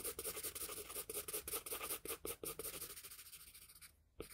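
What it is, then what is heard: Paper drawing sheet. The graphite tip of a wooden pencil scratches and rubs across a flat sheet of drawing paper along the jaw line. Quick, quiet, bright scratchy strokes repeat in an uneven rhythm, taper to near silence, then return with one last stroke.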